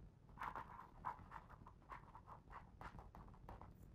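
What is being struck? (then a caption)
Glossy paper pages of a hardcover book. Fingertips trace and rub the glossy paper pages of a hardcover picture book lying open on the same spread. Quiet, uneven swishing strokes with a midrange hiss rise and fade over a faint low rumble.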